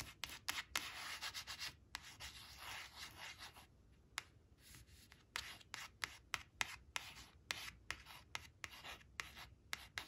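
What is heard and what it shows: Long blue acrylic nails trace and scratch over the printed number and word on a small, thin, coated paper flash card showing "4 four," which lies flat on a woven cloth. The sound is a soft, bright, hissing rub broken by many short, sharp scratches and taps.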